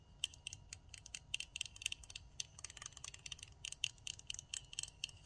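Long nails rapidly tap and scratch the plastic handles of a pink plastic nail tip cutter with a metal blade. The result is a quick, irregular run of sharp, bright clicks that die instantly, with a tick around 3 kHz, over a faint low background hiss.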